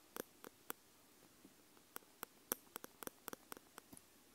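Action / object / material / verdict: tap / metal microphone capsules on a handheld recorder / metal / none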